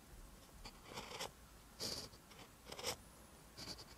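A pen writes green Korean letters on a lined paper notebook page. Short, bright scratching strokes come in irregular bursts over a quiet background, with the strongest bursts clustered near the middle and end of the clip.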